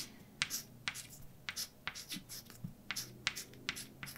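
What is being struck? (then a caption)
Chalk on a blackboard. A hand writes with white chalk on a large, flat, dark blackboard. Short, bright, scratchy strokes alternate with sharp taps of the chalk against the board, each dying away almost at once over a quiet, low background hum.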